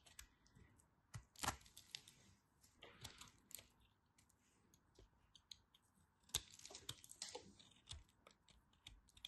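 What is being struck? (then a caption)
Bar of soap scraped with a blade. A blade scrapes and carves crunchy flakes off the end of a dry, solid cream-yellow soap bar with a scored surface. The sound is a quiet run of short, dry, crackly scrapes and clicks, bright and crisp, with quick bursts and pauses between them.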